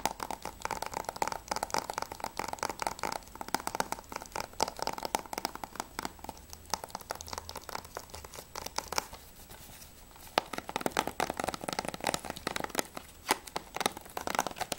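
Fingernails tap and scratch rapidly on the plastic sleeve of a Grand Theft Auto V PS3 game case, working over the front cover and then the back cover. The result is a dense stream of sharp, dry clicks and crinkly scratching with a bright edge. A quieter, softer stretch comes just before a single sharp tap, and then the busy tapping resumes.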